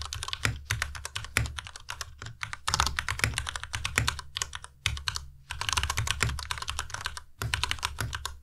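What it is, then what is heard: Plastic mechanical keyboard. Both hands' fingertips type continuously on a Ducky Miya Pro compact white mechanical keyboard with white plastic keycaps and Cherry MX Red switches. Rapid, bright plastic clacks ride over a low, hollow thock in uneven bursts separated by brief pauses. Each keystroke dies away almost instantly.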